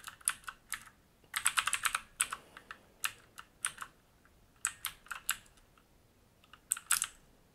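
Fingertips type on a black mechanical keyboard with plastic keycaps and a metal top plate and frame, resting on a wooden desk. Sharp, bright clacks come in irregular bursts with short pauses between them, and each click dies away almost instantly.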